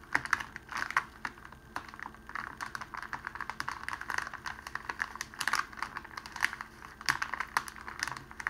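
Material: Cellophane.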